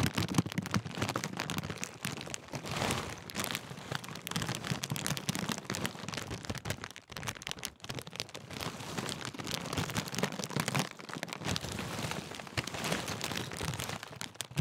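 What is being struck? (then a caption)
Foil-lined plastic crisp packet. Fingertips crinkle and roll the thin foil-lined plastic film of a large Walkers sharing-bag crisp packet. The result is a dense, continuous crackling and rustling that spans low body to bright highs, with a brief quieter dip around the middle before it resumes.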